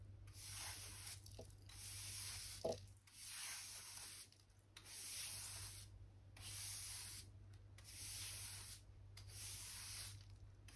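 A soft natural-bristle hand brush, held in the fingers, sweeps light dust across solid oak floor planks beside a white skirting board. Repeated bright, airy swishing strokes rise and fade over a steady low hum, with one sharp tap partway through.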